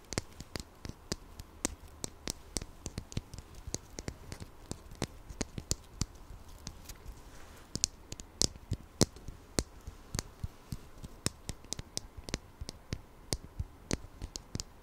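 A small hollow red plastic ladybug toy with googly eyes, held in both hands, is tapped and scratched with long nails close to the microphone. Quick, sharp, bright clicks come at an uneven pace over a soft scratchy rustle and a faint low hum.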